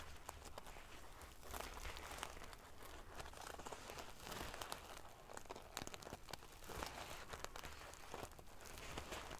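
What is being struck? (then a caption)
Pillow covered in small metal sequins. Long fingernails scratch and ruffle a pillow covered in rows of small silver metal sequins, flipping the metal pieces. The result is a steady, dense crinkling and scratching texture with many quick, bright clicks scattered throughout, over a faint low rumble.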